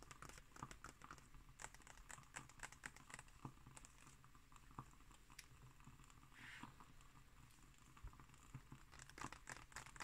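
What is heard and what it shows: Fingertips and long nails scratch and tap across the thin glossy printed pages of a large open illustrated book lying flat on a wooden table. Many quick, dry clicks and crinkly scratches patter irregularly over a low, steady hum. A soft hiss swells briefly near the middle before the tapping picks up again toward the end.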